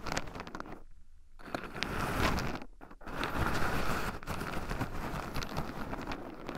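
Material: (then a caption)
Pine nuts. Two wooden chopsticks stir and poke through a small wooden bowl heaped with raw shelled pine nuts, rubbing the nuts against two black microphones buried in the pile. The sound is a dense, close, crunchy rustle and scratching with low rumbling contact noise. It drops out into near-silence twice, briefly around the one-second mark and again just before three seconds.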